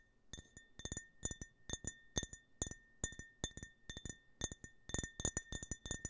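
A clear, empty glass tumbler with a US-flag print, held horizontally, is tapped with fingertips and nails in quick rhythmic clusters. Each tap gives a bright, short glassy clink, over a faint sustained ring near 1.8 kHz and a higher overtone.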